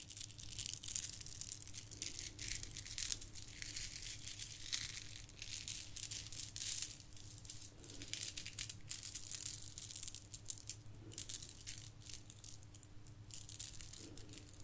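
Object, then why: Plastic bead garland. A bundle of shiny gold plastic bead garland is squeezed and shaken between the hands, then dangled from the fingers. The beads give a dense, continuous bright rattle and clatter over a steady low hum.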